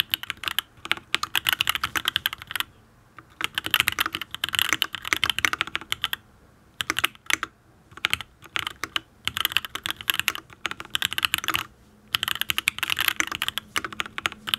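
Fingertips type on a full-size custom mechanical keyboard with an aluminium case, ABS keycaps and linear switches. Bursts of rapid, bright, clacky keystrokes come with short pauses between runs. Each key strike is crisp and dies away almost instantly.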